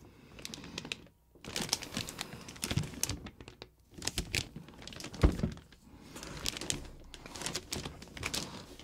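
A medium, hollow cardboard box for a Rode NT-USB microphone, sealed in clear plastic shrink wrap, is tilted and handled while fingertips rub and press the wrap and box sides. Dense bursts of crinkling and crackling with soft, dull thumps are broken by brief quiet pauses, with one sharper press standing out midway.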